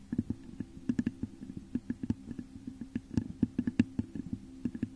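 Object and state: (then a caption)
Textured glass vase. Long nails scratch and tap the top of a hollow, textured clear glass vase turned upside down over a microphone. Quick, irregular clicks and taps each set off a brief hollow, muffled resonance around 240 Hz over a soft scratching bed, and each dies away almost instantly.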